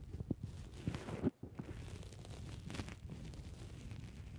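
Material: Foam.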